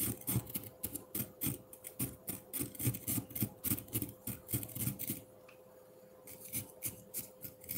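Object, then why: Frozen milk ice block in a ceramic bowl, scraped with a metal fork. A metal fork's tines scrape downward across a solid block of frozen pineapple milk ice in a ceramic bowl, making quick, crisp, gritty rasping strokes in a steady, slightly uneven rhythm. The scraping stops for about a second, leaving a faint steady hum underneath, then resumes with more of the same short, dry strokes.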